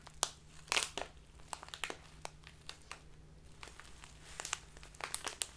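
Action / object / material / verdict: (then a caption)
scrape / plastic tea bag of loose tea / plastic / none. A full, clear plastic Biotta tea bag of loose tea is held upright, then sideways in both hands, and squeezed and crinkled with the fingertips and long nails. Bright, crisp crinkles and sharp crackling snaps come in bursts, with loud pops near the start and end. A faint, steady low hum runs underneath.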